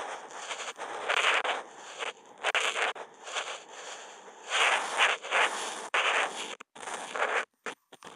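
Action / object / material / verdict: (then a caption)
scrape / felt-tip marker on a sheet of smooth drawing paper / paper / none. The felt tip of a Posca marker, picked up by a contact mic on the marker, draws continuous wavy lines across a flat white sheet of Kent paper. It makes a dry, raspy scratching in bursts that swell and fade with each stroke, bright and mid-heavy with no low end. Short silent gaps fall between strokes near the end.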